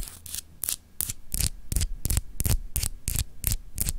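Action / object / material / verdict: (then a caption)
scrape / solid glass globe paperweight / glass / none. A palm-sized solid clear glass globe paperweight with etched continents is held in the hand and scratched by long acrylic nails. A quick, somewhat uneven series of short, bright scratching strokes sounds over a low background hum.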